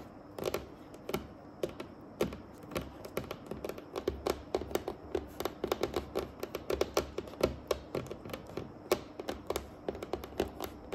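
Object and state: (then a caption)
Wooden tabletop, solid. Long painted acrylic nails tap and drum on a flat, solid dark wooden tabletop in a quick, typing-like rhythm. The sound is a steady, irregular stream of short, crisp clicks with a soft midrange knock, each dying away almost instantly. The taps are quiet and close, layered over a faint low hum.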